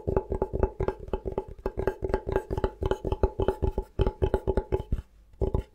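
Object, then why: Bamboo chopping board. Fingertips tap slowly and lightly on the face of a thin, solid bamboo cutting board held at an angle. A steady run of short, dry, woody knocks with a low thump and a hollow mid-range tone, each dying away almost instantly. The tapping pauses briefly near the end, then resumes.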